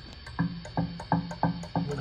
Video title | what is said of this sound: National company HRO 500 receiver HF oscillator extremely microphonic on FM mode test SDR receiver | you can hear this thing when I tap it